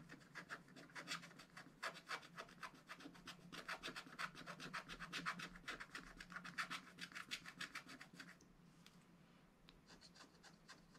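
A wooden stylus rubs and scratches back and forth across a black wax-coated scratch-art paper page in a spiral notebook to fill in a red bird. Fast, steady rasping strokes carry a bright, papery scrape with a faint low hum underneath. After about eight seconds the strokes thin out and grow quieter, leaving a few soft, scattered scratches.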